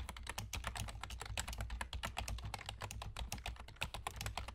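Fingertips with short nails of both hands rapidly tap the hollow keys of a full-size black plastic computer keyboard with German key labels. It makes a dense stream of short, bright clicks over a steady low hum.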